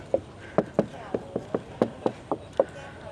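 Knocking on the composite front body panel of a Chery V23 electric SUV, next to the steel door, produces ten short, dull knocks. Each knock has a mid-pitched hollow tone around 540 Hz and dies almost instantly, with faint background noise between hits. The whole front section and part of the roof are composite.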